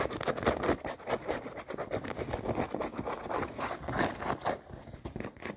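Long nails scratch quickly over light-blue denim jeans and their seams while the jeans are held and lying in a suitcase. The result is a steady run of rough, rasping scratch strokes with a dry fabric texture and no ring after each stroke.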